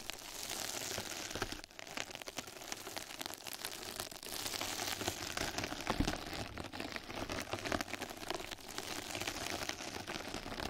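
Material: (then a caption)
Plastic mesh. Two mascara brushes scratch and brush across a flat yellow knitted-mesh scrub sponge pad laid over the microphone. The result is a dense, continuous bright crackling and rustling, like rain on a surface, that holds steady with brief dips in intensity throughout.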